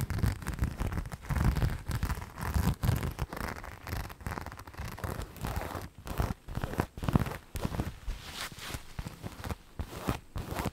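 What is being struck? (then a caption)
Fabric boot upper with rhinestones. Long nails scratch along a hand-held black fabric boot, soft and hollow, dotted with rhinestones, making a dense run of close, dry scratching and tapping with low thuds from the hollow shoe.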